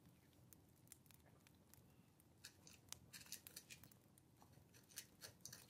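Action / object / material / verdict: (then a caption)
scrape / dip pen or quill writing on a paper sheet / paper / none. A dip pen or quill scratches across a small, thin, flat paper card or letter resting on a wooden table while writing. Quiet, bright, scratchy strokes come in short bursts over a soft low rumble, growing busier and sharper toward the end.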